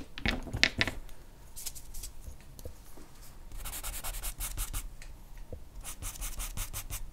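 A hand strokes and scratches a charcoal pencil across a flat sheet of white drawing paper bearing a charcoal portrait, lying on a dark board. A few louder, gritty scratches open the clip, followed by softer rubbing. Then come runs of quick, bright, dry strokes.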